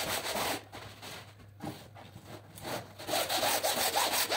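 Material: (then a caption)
Fabric. A long-handled pink-and-blue bristle brush scrubs back and forth in long rubbing strokes across a large woven rug lying flat on the floor, wet with foam. The result is a bright, wet, scratchy hiss of bristles swishing through the soapy fibers. It is loud at the start, softer through the middle, and builds to steady, louder scrubbing at the end.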